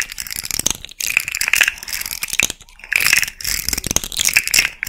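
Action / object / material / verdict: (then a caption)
shake / jointed hard-plastic fidget toy / hard plastic / none. A small hand-held rainbow fidget slug made of hollow, jointed hard-plastic segments is bent and twisted with long red-painted nails and fingertips. The segments give off dense, bright clicking and rattling in quick bursts, with short pauses between them.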